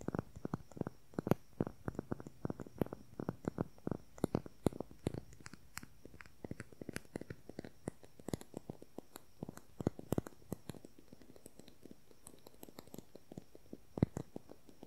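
Long nails tap quickly along the length of a slim, hollow beige plastic concealer tube with its cap on. The result is a quiet, steady stream of dry, short clicks with a soft, low hollow body and almost no ring.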